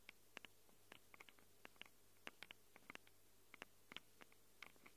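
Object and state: Fingernails scratching metal microphone capsules.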